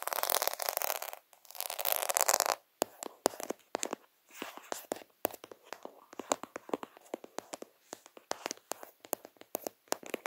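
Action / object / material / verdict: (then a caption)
tap / plastic half-pearl stickers on a flat sheet / plastic / none. A sheet of small white plastic faux-pearl stickers, solid half-beads on a flat backing, is held right in front of a phone camera and worked with fingertips and short nails. Two dense bursts of bright, hissing scratching open the clip. They give way to quick, crisp, dry taps with almost no ring, scattered rapidly through the rest of the clip.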